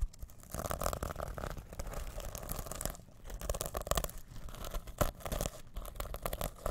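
Fingertips scratch and brush the plastic sequins covering a small reversible fabric sequin pouch held close to the mic. A dense, continuous crackling rustle with quick scraping bursts is heard, full and close with a strong low rumble underneath. Brief pauses and louder swipes come near the middle and end.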